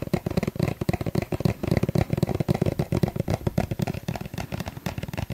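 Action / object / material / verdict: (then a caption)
tap / small plastic suncream tube / plastic / none. A small, hollow yellow plastic suncream tube is held in the hand and tapped rapidly with fingertips and nails. About 30 quick, dull, hollow taps are heard, low-pitched with a soft clicking edge, each dying away almost instantly.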